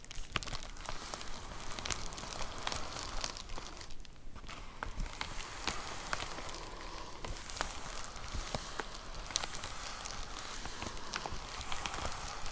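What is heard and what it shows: Long nails tap and scratch on a white plastic poly mailer envelope with a box inside, crinkling the plastic. The result is a steady, dense stream of soft crackling and rustling, with quick, bright clicks scattered throughout.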